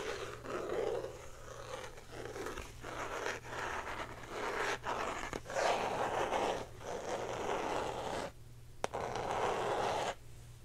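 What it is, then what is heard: Plastic box scratched with nails. Long painted nails scratch and tap a small, hand-sized clear plastic box printed with a colorful lollipop pattern, likely hollow, held in both hands. Bursts of dry, crackling scratching come in uneven stretches, with a low steady hum underneath and one sharp tap near the end before the scratching resumes.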